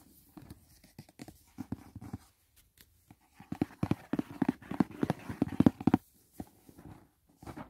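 Fingertips and short nails tap and scratch the lid of a closed, hollow white rigid cardboard gift box printed with "Dashing Diva." The taps come in quick, irregular bursts of short, dry knocks with a hollow low-mid thump, broken by soft scratching and brief pauses. The taps build louder and denser toward the middle before thinning out.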